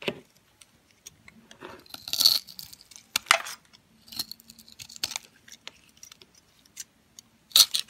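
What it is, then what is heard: Dry soap bar being scraped. A metal utility knife blade scrapes and shaves the scored cubes off a solid, pale yellow, translucent bar of dry soap that is pre-scored into a grid and held in the hand. The result is crisp, bright crunching and crumbling in uneven bursts, with sharp scraping swells and small clicks in between.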